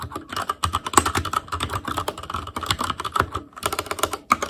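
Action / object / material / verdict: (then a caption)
tap / plastic mechanical keyboard keys / plastic / none. Fingertips of both hands type rapidly on a full-size ASUS ROG Claymore Core keyboard with plastic keycaps on Cherry MX Red switches, a metal plate, a hollow case and RGB backlight. A fast, dense stream of short clacky key taps with a clicky tone around 1.1 kHz and bright edges, each tap dying away almost instantly, with brief pauses between bursts.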